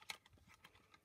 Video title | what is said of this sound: Cute Penguin Christmas Card using AALL & Create stamps | Give it a shake. You can hear the ball bearing going